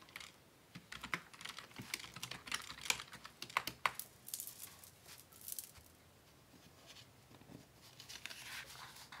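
Fingertips type on the keys of a black plastic Dell desktop keyboard resting on a wooden desk, producing quick, bright, dry clicks in uneven bursts. Partway through, the typing pauses briefly while one hand rests on papers, leaving only soft, faint rustling before a few lighter taps resume.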